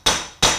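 A steel tapered bearing race, driven into the wheel hub of an Austin-Healey Bugeye Sprite's front suspension with a race tool and hammer, is tapped twice. Each tap gives a sharp, bright metallic strike with a short ring. The solid "thunk thunk" shows the race is pressed all the way down against its seating surface and fully seated.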